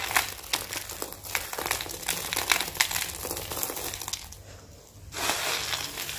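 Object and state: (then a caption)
Dry, brittle soap curls being crushed. Both hands press, crush and rub a loose pile of small, dry, brittle red and green Christmas soap curls and flakes on a white surface with fingertips and palms. The result is a dense, bright crackling and crinkling with many sharp little snaps. It fades to a quieter rustle before swelling into a louder, steady crunch near the end.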